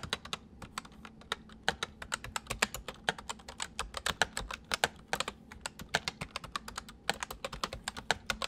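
Fingertips of both hands type on a white full-size plastic mechanical computer keyboard. A steady run of quick, sharp, bright clicks follows, each dying away almost at once over a faint low hum.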